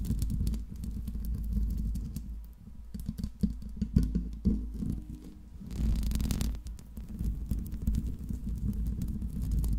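Long pink nails scratch and tap the top and sides of the hollow metal mesh grille on a silver Blue Yeti microphone. The result is a dense, low, rumbling scratching texture broken by sharp little taps, with a louder, brighter burst of scratching in the middle before the steady rubbing and tapping returns.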